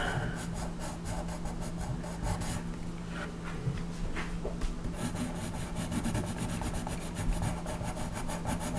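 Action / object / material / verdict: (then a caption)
scrape / colored pencil rubbing on a paper coloring page / paper / none. A colored pencil held at a low angle rubs a flat paper coloring page on a table in repeated shading strokes over a horse's tail. A steady, scratchy rasp of lead on paper runs throughout, with bright stroke-by-stroke swishes over a constant low hum.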